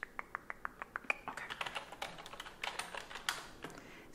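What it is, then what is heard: Plastic computer keyboard. A white plastic desktop keyboard on a desk is typed on with fingertips and long nails. At first the sharp, bright key clicks come evenly spaced, then they turn into a faster, denser run of overlapping taps. Each click dies away almost instantly.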